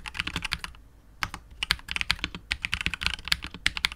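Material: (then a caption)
Plastic. A KBD67 Lite R2 65% mechanical keyboard with KTT Wine Red switches, PBT keycaps and a hollow clear translucent polycarbonate case is typed on continuously with the fingertips of both hands. Quick, bright clacks with a soft low thud underneath follow one another rapidly and die away almost instantly. There is a short pause just before the one-second mark.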